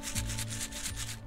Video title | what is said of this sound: Garden Fun Collecting Okra Seeds! | the seeds are already dry they're already loose and they're ready to store